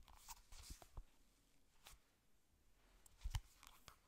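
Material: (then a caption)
Cardboard. A hollow yellow glossy cardboard ring-binder folder is scratched and tapped on its cover with long nails. The result is quiet, soft scratches and dull, short taps with a low thump and brief bright scraping edges.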